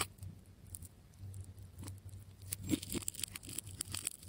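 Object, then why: Wound plastic tape ball cut with a metal blade. A metal scalpel cuts and scrapes through the layers of plastic tape on a striped, solid wound tape ball. Quiet, crisp scratching and tearing ticks crackle over a low steady hum, with bright clicks growing denser and sharper in the second half.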